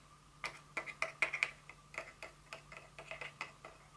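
Long nails tap and scratch a thin, hollow, empty white paperboard Dior fragrance box that lies partly unfolded with open flaps on a table. The result is a quick, irregular run of sharp, dry, bright ticks that die away almost instantly, with no low thump beneath them.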